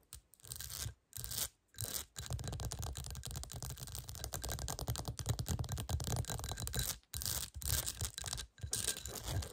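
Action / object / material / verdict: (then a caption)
scrape / textured glass bowl / glass / none. Long nails scratch quickly and tap across the base and sides of a small, clear, hollow textured glass bowl turned upside down. Dense, rapid scraping bursts with a soft low body and bright, hissy edges are broken by a few brief pauses.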